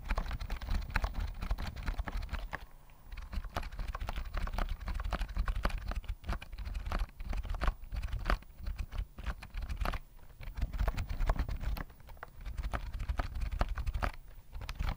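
A full-size white plastic keyboard with round mint keys and a hollow body is held near the mic and tapped rapidly with the fingertips. The result is a dense stream of short, dry clicks over a deep, hollow low-end thump, with brief lulls in the tapping along the way.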